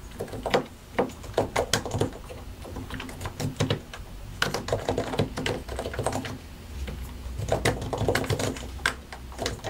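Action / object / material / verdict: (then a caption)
tap / mechanical computer keyboard with plastic keycaps / plastic / none. Both hands tap with their fingertips on a compact white and grey mechanical computer keyboard with a hollow plastic case and plastic keycaps. A steady, irregular stream of short, clacky key strikes plays with some louder taps, each dying away almost at once over a faint low hum.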